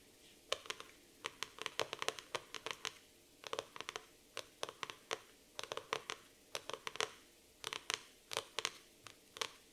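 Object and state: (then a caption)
Laminated cardboard notebook cover. Long nails tap and scratch the glossy laminated cardboard cover of a black floral hardcover notebook. Rapid bursts of sharp, dry clicks and bright scratchy ticks come in uneven clusters over a quiet background, each one dying away almost instantly.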